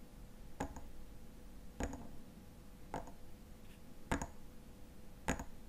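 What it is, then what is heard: Glass lotion bottle tapped with fingernails. Fingernails tap and scratch the body of a slim frosted glass lotion bottle with a silver cap, filled with white lotion. Five evenly spaced, quiet taps sound about a second apart, each a short bright click that dies away almost at once over a faint steady hum.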